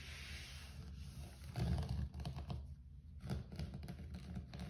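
Fingertips rapidly tap and scratch a low-pile grey carpet floor. The result is a steady run of soft, muffled thumps and brushing scrapes, heavy in the low end with almost no high-frequency bite.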